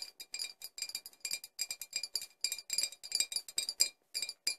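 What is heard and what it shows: Four glass bottles are tapped in a quick, uneven series of light taps. Each tap gives a bright, high clink with a short ring and almost no low end.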